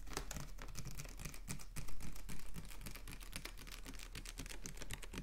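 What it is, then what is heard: Plastic water bottle, tapped and scratched. A capped, clear plastic water bottle with a blue label is tapped and scratched with fingernails in a rapid, irregular pattern. Dense, crisp clicks and light scraping sit over a steady low hum, and each tap dies away almost instantly.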